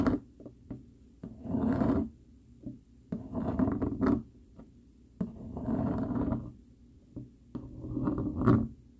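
A dark plastic fork scratches and rubs its tines across a flat brown cardboard sheet. Four longer, raspy scraping passes stand out, separated by short, quiet scratches and taps. The sound is dry and mostly low-to-mid, with little ring after each stroke.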